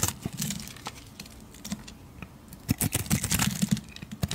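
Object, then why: Bar of soap scraped with a metal blade. A metal blade scrapes across the surface and edges of a solid blue bar of soap in short, irregular strokes. Each stroke is a dry, crisp scratch with a soft low body and a bright top, and they die away instantly. After a quieter stretch in the middle, the scrapes come faster and louder in a busy cluster toward the end.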